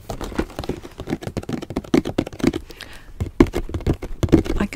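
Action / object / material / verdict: tap / shrink-wrapped cardboard game box / cardboard / none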